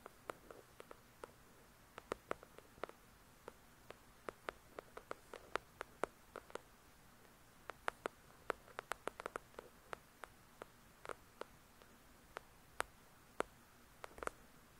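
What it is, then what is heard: Paperback book. Long pointed nails tap the glossy card cover of a solid paper paperback novel, *The Shack*. Dozens of quiet, sharp, dry clicks come in irregular bursts and single taps, each dying away instantly. A faint steady hiss runs underneath.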